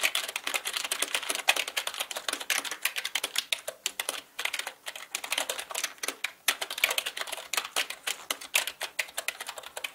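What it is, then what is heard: Plastic mechanical keyboard. Both hands type with their fingertips on a black mechanical computer keyboard with plastic keycaps, producing rapid, bright, short clicks with almost no low end. The clattering runs in quick bursts with a couple of brief pauses, each keystroke dying away almost instantly.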